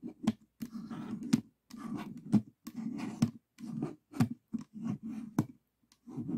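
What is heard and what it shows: Fingertips tap on the top face of a small stickerless plastic 3x3 Rubik's cube with a hollow mechanism. Soft, low, hollow clicks land in quick bursts, with brief rubbing between them and short pauses between groups.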